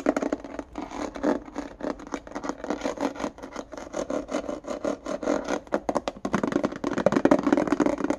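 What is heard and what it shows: A small, hollow, empty index card box with a clear plastic base and a ribbed white plastic lid is held in the hand and scratched and tapped with fingernails along the ridged lid and sides. The result is a fast, continuous run of dry plastic taps and raspy scratches, each hit hollow around 273 Hz and dying away almost at once.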